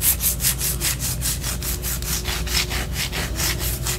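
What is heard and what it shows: Long orange nails scratch down the side of a white solid wax pillar candle held upright. Quick, steady rasping strokes repeat at a brisk pace, each a bright, dry scrape, over a faint low background hum.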